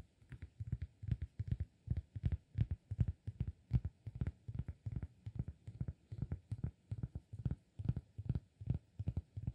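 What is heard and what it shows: Fingertips tap a round, flat, solid cork disk on its face and edge in quick, uneven bursts. Each tap is a soft, dull, low thud that dies almost instantly, with a faint bright click on top.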